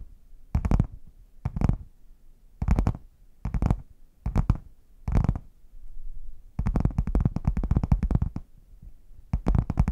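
Long nails and fingertips tap and scratch the front panel of a red, padded faux leather zip case with a chocolate print, held closed and upright in front of the mics. The hollow case gives deep, muffled thumps and rubbing in short bursts with brief pauses between them. A longer unbroken stretch of tapping and scratching runs near the end.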